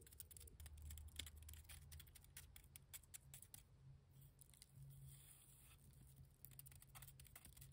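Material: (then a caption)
Cement mortar. Long nails tap and scratch the surface of a heap of grey, damp cement mortar with a rough, clumpy texture, a solid mass. Quick, irregular, soft, dry clicks and gritty scrapes patter over a steady low hum.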